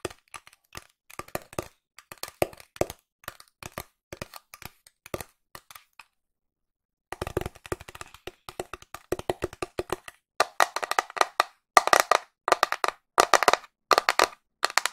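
Long nails tap a flat pink cardboard box with a printed illustration, making dry, sharp clicks that die away almost instantly. Scattered tapping runs for about six seconds, then a second of silence. Denser, louder bursts of rapid tapping follow, brighter and fuller in the midrange.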